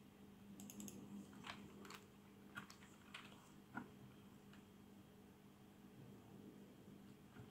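Fingertips type on a full-size black plastic membrane gaming keyboard with RGB backlight and a hollow housing, resting on a desk, first with one hand and then with both. Soft, muffled key taps and presses come in quick, irregular clusters, with a few sharper clicks standing out above a steady low hum.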